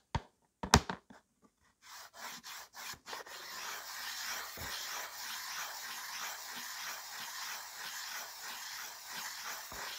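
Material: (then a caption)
Slate. A white slate pencil is pressed by the fingers and rubbed on its side across a small, solid, flat framed slate writing board. A few sharp taps at the start give way to short separate strokes, then a steady run of gritty, bright sideways rubbing strokes.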